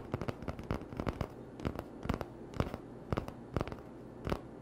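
Short fingernails scratch an empty, hollow cardboard toilet paper tube, then fingertips tap on it. The result is a quick series of dry, close, crackly clicks and soft hollow taps with a low thud beneath them and almost no ring.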